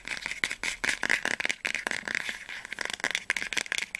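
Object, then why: Hardcover book spine. Long nails quickly tap the spine of an orange hardcover book standing upright. The result is a rapid, uneven run of dry, clicky taps with a bright edge and a strong ring near 2.2 kHz. There is no low end, and each tap dies away almost at once.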